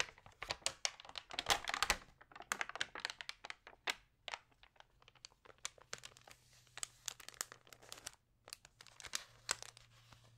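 Long painted nails and fingertips rub and scratch the thin, lightly water-sprayed pages of an open glossy food magazine lying flat on a yellow table, and one page is turned. Dense bursts of bright, crisp crinkling and scratchy ticks come in uneven clusters, loudest near the start and thinning to sparser, quieter scrapes. A faint low hum sits underneath.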